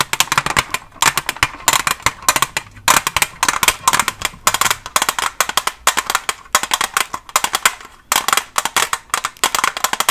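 Long nails covered with paperclips tap quickly on a Staedtler pencil package, a plastic blister on a cardboard back holding pencils. Rapid, sharp, bright clicks come in dense bursts separated by short pauses. Each tap dies away almost at once, with almost no low end.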